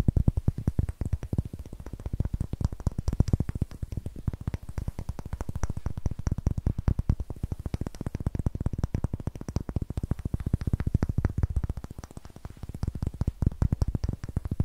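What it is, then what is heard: Pine wood block. A solid, light pine wood block with a rough end face is held and turned between the hands while fingernails tap and scratch across its faces. The result is a long, rapid stream of dry, dull knocks that are heavy in the low end with almost no ring.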